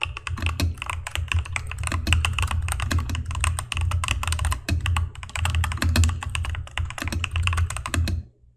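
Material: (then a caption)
Plastic. Fingertips of both hands type quickly on a mechanical keyboard with cream plastic keycaps, an orange spacebar and RGB backlight, tapping the keys down onto the switches. The result is a dense, continuous stream of short, bright clacks over a steady low hum, stopping abruptly near the end.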